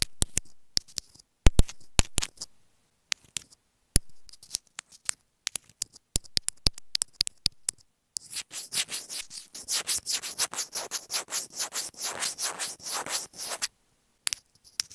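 Long nails tap, scratch and rub a small, hollow white plastic inline microphone on an earphone cable. The first half is a scatter of sharp, close clicks and taps. Then comes a dense, rhythmic stretch of bright, hissy scratching, followed by a few final taps.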